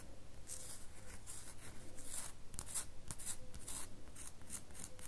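Long fingernails rub and scratch a solid red bar of soap. Quiet, bright scratching strokes repeat about three times a second in an uneven rhythm over a steady low rumble.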